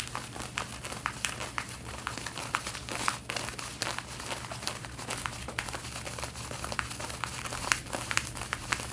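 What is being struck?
Cotton denim jeans.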